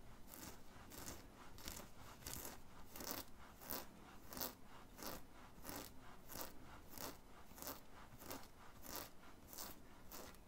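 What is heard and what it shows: Fingertips and nails scratch a worn black cotton t-shirt with a red and white print, near the collar and chest. About twenty soft, bright, rasping strokes repeat at a steady, slightly uneven pace over a quiet low rumble.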